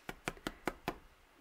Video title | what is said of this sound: Single Loaf Bread Recipe Kitchenaid Stand Mixer | it got a nice little thud to it that's how you know it's done